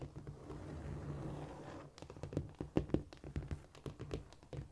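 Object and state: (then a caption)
Cork floor. Long almond-shaped nails scurry and tap across a flat, solid cork floor. For about two seconds there is a soft, steady scratching rustle, followed by a run of quick, dull, low-pitched taps that die away almost instantly.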